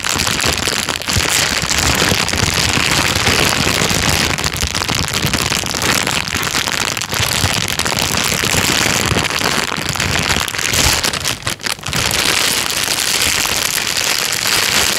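A thin, clear plastic bag is crumpled by hand and then rubbed flat with the fingers. It makes a dense, continuous crinkling and crackling that is bright and high-pitched, with little low end. The sound holds a steady level throughout, apart from a brief dip about three-quarters of the way through.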